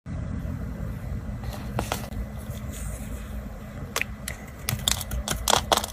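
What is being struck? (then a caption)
Bar soap carved with a small blade. A small blade scrapes and carves a round, dry, solid orange bar of soap held in a hand over a tiled surface, and shavings flake off. A steady low rumble runs underneath sharp, bright scraping clicks that come more often toward the end.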